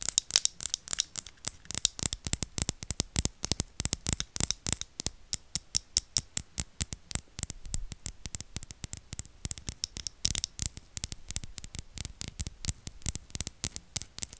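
A palm-sized square glass perfume bottle with a black cap, held at the microphone, is tapped and scratched with long nails. The result is a rapid, steady stream of sharp, bright clicks with almost no ring, mixed with soft scratchy friction.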